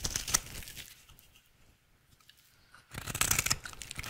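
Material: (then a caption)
Soap. A rectangular, solid, dry yellow soap bar held in hand is shaved into curls with a utility knife blade. Bright, crisp scraping and cutting sounds come in bursts at the start and end, with a quieter stretch of faint scraping in between.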